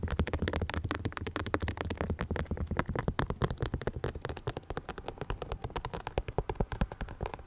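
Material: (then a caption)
Rhinestones, plastic. An empty rhinestone-covered sneaker with a clear sole is rapidly tapped and scratched with long nails. The result is a quick, irregular stream of short, sharp clicks and scratchy ticks over a low rumble that fades after the first couple of seconds.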